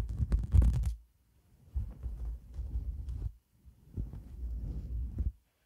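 Long black nails scratch and rub across a white shaggy faux fur microphone windscreen, producing deep, muffled rumbling with almost no high end. A loud burst opens the clip, followed by a pause and two longer, steady stretches of low, throbbing rubbing.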